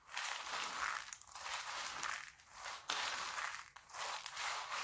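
A pile of small, hard red and green dried laundry soap flakes on a white table is rubbed, scratched and crushed with fingertips and palms. Bright, dry crunching and crackling rises and falls in repeated swells with no low rumble. The gritty texture stays dense throughout, and sharper crunches break through between the swells.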